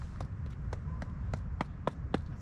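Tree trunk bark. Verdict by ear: Hollow.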